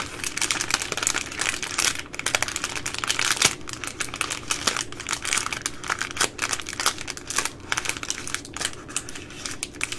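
Fingers with long nails pinch and crinkle the thin plastic film end of a baby wipes pack up close. A dense, bright crackle of crinkling plastic runs steadily through the clip, with quick sharp snaps standing out above the rustle.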